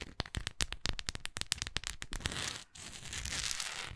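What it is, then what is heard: Wax pillar candle. Long acrylic nails tap and scratch along the side of a large, solid orange wax pillar candle with a speckled surface. For the first two and a half seconds there is a rapid run of sharp, dry clicking taps with a bright edge centered near 3 kHz. After a brief pause, a steady, crackly scratching hiss carries through to the end.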